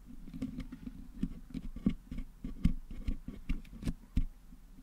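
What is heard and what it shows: Wooden toothpicks held in fingers pick and scratch at colored putty packed into the hollow metal mesh grille of a Blue Yeti USB microphone head, cleaning the putty out. The result is a soft, irregular patter of short, dull taps and scratchy clicks that are mostly low in tone and die away almost instantly.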